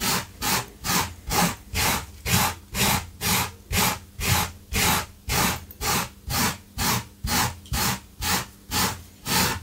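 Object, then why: Low-pile fabric carpet scrubbed with a wire brush. A small wire brush with a yellow handle, held in a gloved hand, scrubs back and forth across a blue low-pile fabric carpet runner on the floor, with a metal tin of debris sitting beside it. About 21 rough, bright scratching strokes come in a steady rhythm of roughly two per second, each a broadband rasp over a soft low rumble.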